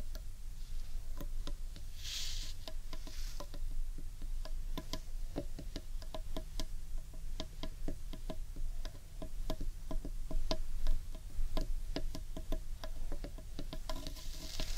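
Long painted nails tap the underside of a large, hollow, carved wooden bowl in a steady, rapid pattern. Each tap is a short, dry click with a hollow, woody knock that dies away almost at once, over a constant low rumble. There are a few brief, brighter hissy swells.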